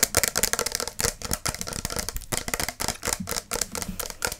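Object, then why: Plastic spray bottle of mist. A tall, clear plastic spray bottle of fragrance mist with a pump cap, hollow and partly full of liquid, is held in one hand and tapped fast with long acrylic nails. The result is a dense run of quick, bright, clicky taps that die away almost instantly, with only a slight low thump under them.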